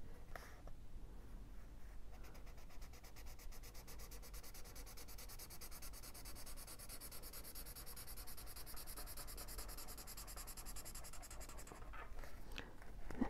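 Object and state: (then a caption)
Felt-tip marker coloring a paper page. A teal felt-tip marker colors a candle drawing on the paper page of an open paperback coloring book in back-and-forth strokes. A quiet, steady, rapid scratchy rubbing runs from about 2 to 12 seconds over a low background rumble, with a few soft page touches at the start and end.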